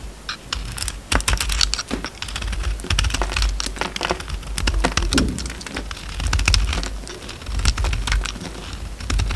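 A utility knife blade shaves flakes off a solid oval bar of soap with a purple outer layer and an orange core. The cutting and scraping produce a dense run of crisp, bright crackles and ticks at an uneven pace over a steady low rumble.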